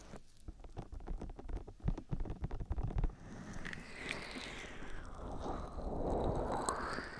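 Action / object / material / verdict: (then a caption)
scrape / silicone ear shells of a binaural microphone / silicone / none. Fingertips and long pink acrylic nails on both hands cup, rub and tap the soft, hollow silicone ear shells of a binaural (3Dio-style) microphone. For the first three seconds, dense, irregular low, muffled thumps and taps dominate. These give way to a steadier, swelling rubbing swish with faint bright scratchy scrapes from the nails.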